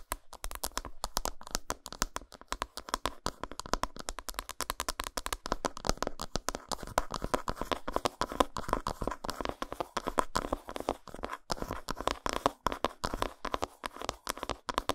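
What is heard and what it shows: Fingernails rapidly tap and scratch the flat back side of an unwrapped solid dark chocolate bar. The result is a dense, continuous stream of short, dry clicks and scrapes centered around 1 kHz, with almost no ring after each hit.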